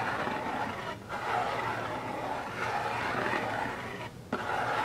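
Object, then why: Rigid cardboard box lid. Fingertips and nails scratch across the lid top of a closed, hollow, medium-size rigid cardboard Birchbox subscription box, blue with gold dots. A steady, dry, rasping scratch runs throughout, pausing briefly near one second and again just past four seconds. A single short tap on the lid follows the second pause before the scratching resumes.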